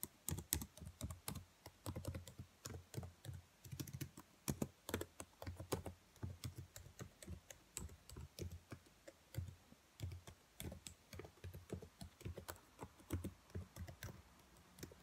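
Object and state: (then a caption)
Plastic laptop keyboard. Long white nails tap rapidly on the black plastic keys of a laptop keyboard. Dozens of quick, dry clicks with a soft low thud under each one fall in a steady, uneven rhythm and stop short without ringing.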